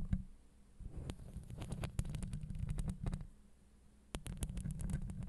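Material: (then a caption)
Steel mesh. Long acrylic nails scratch across the steel mesh grille of a Blue Yeti microphone, producing a deep, muffled rumbling scrape dominated by low frequencies. Sharp, bright clicks and ticks from the nails catching on the mesh come through on top. The scratching comes in bursts, with brief quiet pauses early on and again just before the last second.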